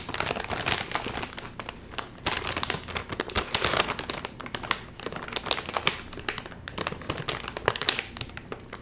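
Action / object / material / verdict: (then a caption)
scrape / metallized plastic film chip bag / plastic film / none. A full Doritos chip bag of metallized plastic film is crinkled by fingertips that pull at its top seam while trying to open it. Dense, bright crackling and crinkling fill the clip in rapid bursts, with a faint low hum underneath.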